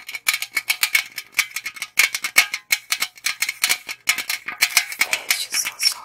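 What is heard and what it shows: A tall, hollow aluminum Monster energy drink can is held in both hands and tapped and scratched along its side with long acrylic nails. Rapid, bright, dry clicks and ticks sound in quick clusters with a tinny ring near 2.2 kHz, mixed with brief scratchy rasps that die away almost instantly.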